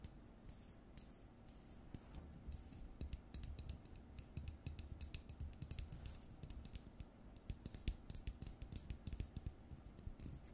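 Long nails tap and scratch the hollow frosted plastic dome and body of an LED light bulb. The result is a quiet, rapid stream of short, dry clicks with bright, high-edged transients and no ringing, over a soft low rumble.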